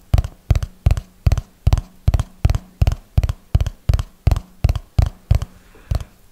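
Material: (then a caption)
Paper. Fingertips and nails tap along the top edge and pages of a small red notebook with paper pages, held close to the mic. Sixteen short, dull, low thumps arrive in a slow, fairly steady rhythm. Each one dies away almost instantly, with a brief brighter click on top.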